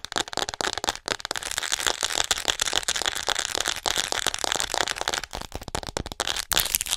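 Long nails rapidly tap and scratch the back and shoulders of a hollow white plastic acupuncture model doll held close. The result is a dense, crackly stream of bright, dry clicks and scrapes with almost no low end and no ring after each tap.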